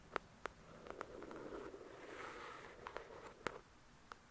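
Long pointed nails tap and scratch the glossy card cover of a solid paperback copy of the novel "The Shack," heard close up. Sharp, dry clicks with a bright edge come in scattered taps at the start and end. Between them, a soft, hissy scratching stroke runs for about a second and a half, all at a quiet level.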